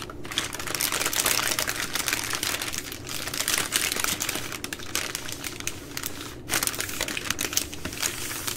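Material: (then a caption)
Soft plastic. A full soft plastic baby wipes pack of 80 wipes, with a hard plastic flip lid, is held in both hands and squeezed and crinkled by fingers and long nails. The result is a dense, continuous, bright crackling of many quick crinkles with short ticks and brief swells. There is no talking.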